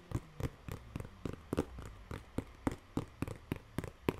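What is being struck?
Corrugated cardboard box.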